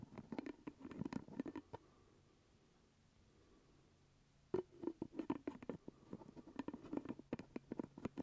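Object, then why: Glass jar with plastic lid. Fingertips and nails tap and scratch the purple plastic lid of a full glass jelly jar held close to the mic. Rapid, dry, short clicks with a hollow low-mid tone come in a quick flurry, pause for about three seconds of near silence, then resume with louder, denser tapping to the end.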